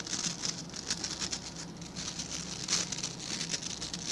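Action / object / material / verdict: scrape / plastic scrub brush bristles / plastic / none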